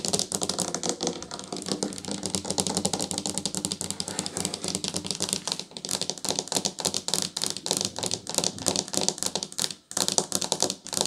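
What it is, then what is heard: Solid ceramic tile tabletop. Long nails and fingertips tap quickly on a solid table of flat painted ceramic tiles, staying in one spot near a grout line. The result is a dense, steady stream of short, dry, bright clicks, like rapid typing, with a brief pause near the ten-second mark before the tapping resumes.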